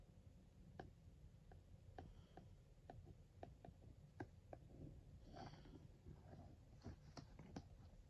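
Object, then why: Printed cardboard sweets box. The small metal plug tip of a white cable traces over the logo on a hollow, printed blue cardboard sweets box. Soft, sharp clicks and ticks land at irregular intervals, with a faint scratchy rub partway through. A low, steady rumble sits underneath throughout.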